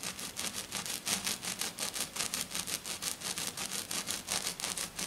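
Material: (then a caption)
Glitter plastic. Short, dark-painted fingernails on one hand scratch fast and hard across a flat silver glitter sheet lying on a table. About 24 rapid, raspy strokes come in a loose, uneven rhythm, each a bright, hissy scrape. A faint low tone sits underneath.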